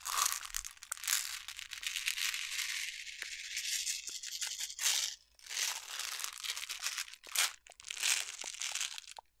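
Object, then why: Plastic jar filled with jelly beans. A clear plastic jar with a yellow lid, full of jelly beans, is shaken and tilted by hand. The candies rattle and crunch in bright, dense bursts with short pauses between them.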